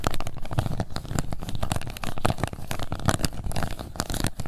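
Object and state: Plastic cup scratched with nails.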